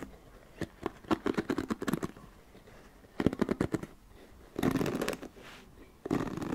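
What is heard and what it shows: Fingertips and long nails scratch and run over the dense bristles and back of a flat black paddle hairbrush with a plastic body, held close to the mic. Bursts of quick, dry, crackly ticks come in clusters, then give way to longer rough, bright scraping sweeps near the end.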